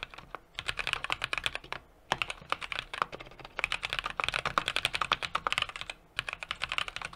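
A small 60% mechanical keyboard with an aluminum case, brass plate and plastic keycaps is typed on rapidly with the fingertips of both hands. Dozens of sharp, bright key taps sound in quick bursts, with short pauses near the two- and six-second marks. Each clack is crisp and dies away almost instantly, with very little low end.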